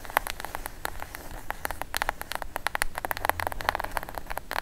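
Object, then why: Kraft cardboard box. Long acrylic nails tap and scratch the top edge and face of a plain brown kraft cardboard box, hollow and closed, held upright. Rapid, dry, papery clicks with crisp, brief transients arrive in quick irregular succession over a low steady hiss.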